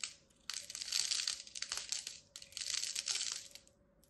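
A black-handled metal blade scores and cuts into a solid, palm-sized purple and white striped bar of soap held by a hand with long red nails. Two long stretches of dense, bright, crisp scraping and crunching are heard, with a short quiet gap between them and a small tick at the start and end.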